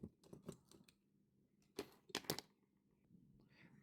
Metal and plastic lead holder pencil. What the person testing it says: this pencil has something loose inside